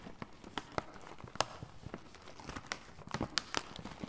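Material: Plastic foil.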